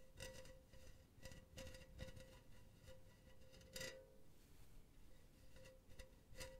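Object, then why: Wire-mesh metal pen holder. Long painted nails scratch and tap a silver hollow wire-mesh metal pen holder held sideways. About ten quiet, bright metallic taps stand out against soft scratching, each leaving a brief thin ring near 530 Hz. The taps come at an uneven pace.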